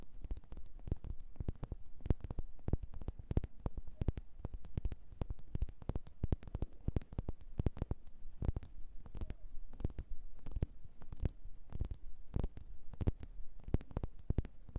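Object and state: Wax pillar candle.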